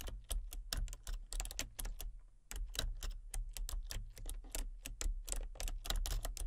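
Fingertips with short painted nails rapidly tap the keys of a full-size plastic membrane computer keyboard with a colour-changing backlight and hollow casing. The result is a quick stream of bright, clicky key taps over a steady low hum, with a brief lull partway through before the typing picks up again.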